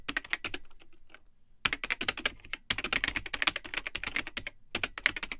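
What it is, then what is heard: Plastic computer keyboard being typed on. Fingertips type continuously on the built-in keyboard of a vintage Tandy 1000 HX all-in-one computer, with a cream plastic case and yellowed, hollow plastic keycaps. Bursts of rapid, bright plastic key clicks with very short decay are broken by a quieter pause near one second and a brief gap before the final flurry. The clatter is mostly high and sharp, with little low end.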